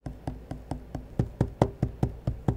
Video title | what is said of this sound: Surface Laptop vs MacBook Air: Which Should You Buy? | does not sit flush on the desk if you tap on the bottom right corner you can clearly hear that there is a gap